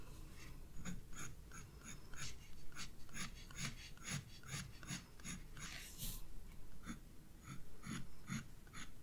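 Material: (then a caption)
Paper. A graphite pencil scratches and shades flower petals on the page of a spiral paper sketchbook lying flat on a desk. Quiet, dry strokes repeat in a steady rhythm, each a brief bright rasp over a low, soft background rumble.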